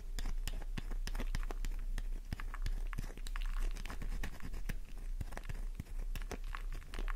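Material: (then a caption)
Soap. Long nails rapidly scratch a solid pink flower-shaped soap bar, making a dense run of crisp, dry scratches and sharp clicks while powdery flakes fall away. A steady low rumble sits underneath throughout.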